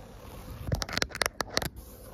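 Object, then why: Microfiber cloth. Long acrylic nail tips scratch and rub across a grey-teal microfiber cloth laid flat. About six quick, bright scratching strokes crackle out in a cluster over a faint, steady hiss, then fade back to quiet.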